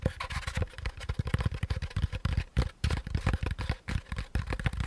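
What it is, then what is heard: Molded pulp packaging insert. Fingertips tap and scratch the sides of a hand-sized, hollow, beige molded paper pulp cardboard packaging insert held in both hands. The result is a rapid, uneven stream of dull, hollow taps and soft scratchy rubs. Each tap is a short, muffled thump with weight mostly in the low end and little high-end brightness.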